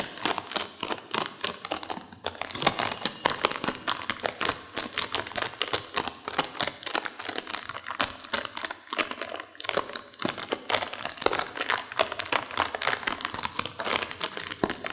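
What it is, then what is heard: Crinkling plastic candy wrapper. A small, full, sealed plastic M&M's candy bag is held in both hands while long nails squeeze, crinkle and scratch its surface. The result is a dense, continuous run of bright, crackly crinkling with many sharp little clicks and scratches and almost no low end.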